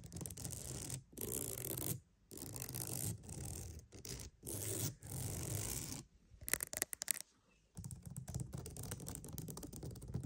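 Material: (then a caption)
Wood. A wooden mat is scratched in bursts of dry, bright, broadband scraping separated by short pauses, with a low rumbling body underneath. Midway come a few sharp, quick taps, followed by a final stretch of steady scratching dotted with fast light taps.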